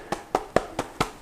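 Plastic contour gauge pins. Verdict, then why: Tight. Six short, dry taps on the plastic pins of a locked Saker contour gauge after it has been dropped, each a quick click with a mid-range tone and almost no ring or rattle. The pins stay tight and do not move, so the lock holds.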